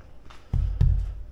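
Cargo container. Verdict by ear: Full.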